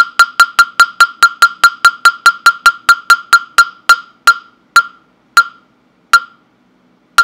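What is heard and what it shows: A hollow, round wooden mokugyo fish block with a slot opening, held in the hand, is knocked with a round-headed wooden mallet. It gives 23 sharp, dry, hollow knocks pitched near 1.4 kHz with a brief bright click on top. The knocks start as a quick, steady patter, then slow down with wider gaps toward the end.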